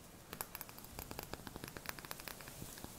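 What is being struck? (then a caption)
Small glass bottle with cork stopper. Fingertips and short painted nails tap the body of a small, round, clear glass potion bottle with a cork stopper, held in a black leather strap harness and apparently empty. About sixteen quiet, quick, bright clicking taps land in an uneven rhythm, each dying almost at once over a faint steady hiss.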